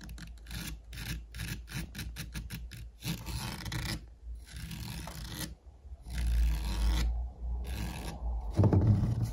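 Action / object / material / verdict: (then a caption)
scrape / portable speaker with woven fabric mesh over plastic / fabric mesh / none. Fingertips and nails scratch and tap the woven fabric mesh cover of a white cylindrical UE portable speaker, made of plastic and standing upright. Quick rasping strokes come about four per second, then slow into longer rubbing passes with a dull, low thump under a bright hiss. The clip ends with louder, heavier scrubbing.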